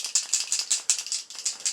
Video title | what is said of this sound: Using touch up pens to paint gun sights | little bearing in there that's going to Rattle